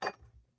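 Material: Steel.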